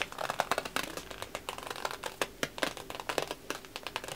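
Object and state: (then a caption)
Wrapping paper being crinkled. A large sheet of thin, red patterned wrapping paper, empty and hollow, is held up in one hand and crinkled and rubbed with the fingertips. It gives a dense run of quick, crisp crackles and rustles, bright and papery, with sharp snaps that die away almost instantly over a soft continuous hiss.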